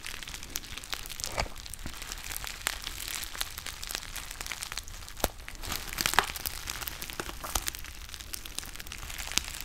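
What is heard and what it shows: A small, partly filled black foil-lined plastic tea pouch with a ziplock top and a white label is held close to the mic and crinkled and squeezed with the fingertips. It makes a steady, dense, bright crinkling with many sharp, quick crackles and occasional louder crisp pops. Each snap dies away almost instantly.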